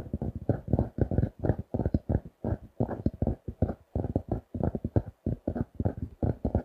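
A closed paper notebook with a printed pink cardboard cover reading "Super Quality Paper Products", a solid paper block held in both hands, is tapped and scratched with the fingertips and nails. A rapid, steady run of short, dull, low thumps comes through, with almost no bright edge and hardly any ring after each tap.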